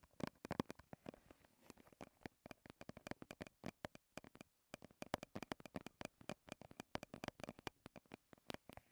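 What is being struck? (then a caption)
Small soft plastic squeeze tube. A small soft-plastic BB cream squeeze tube, held in both hands, is tapped with long red-painted nails in a fast, uneven run of dozens of quiet, dry clicky taps. The taps are brief and sharp with almost no ring, and there is a short pause just before the midpoint.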